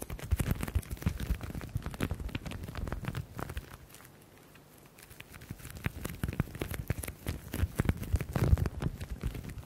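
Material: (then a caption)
Leather. Fingertips and nails quickly tap and scratch a grained black leather folder held close to the microphones, making a dense run of soft, low, dull taps with faint scratchy texture. The activity thins to a quiet lull around the middle before the rapid tapping and scratching pick up again.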